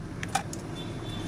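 A few light metallic taps on the aluminum housing of a JQ JT 800-16 Treble Neo 750 neodymium tweeter, one brighter than the others with a brief ring near 785 Hz. The taps fade within a fraction of a second over a steady low background rumble.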